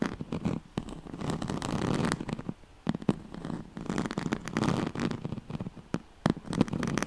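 Fingernails scratch across the ribbed weave of a yellow striped, woven oval pad made of a straw-like fabric. The result is a dense, continuous rasping and rustling in repeated bursts, punctuated by sharp clicks and snaps. The sound has a warm, mostly low-mid body.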